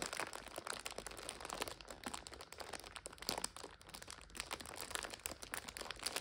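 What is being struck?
Plastic film multipack of instant noodles.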